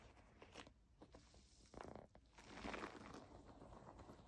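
A white plastic foam bath pillow is held and bent, then scratched with long nails and tapped with fingertips while it lies flat. The sound is quiet crinkly crunching and scraping, with short soft taps and brief bursts of brighter rustle.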